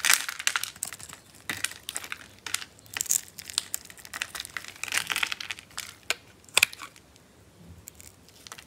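A solid, hand-sized pink bar of dry soap is held in the palm and shaved and carved with a metal blade. Dry, bright, crunchy scrapes and crackles come in quick irregular bursts with almost no low end or ring, as chips break away from the bar.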